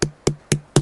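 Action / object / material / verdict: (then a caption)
tap / watermelon / fruit / ripe. Four even taps on a ripe watermelon held against the ear, each a short knock with a low, woody tone around 145 Hz that dies away almost at once. The hollow, xylophone-like ring marks the melon as ripe.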